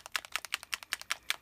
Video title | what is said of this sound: Everything Rosy Part 2 | give it a shake you can hear the bead in there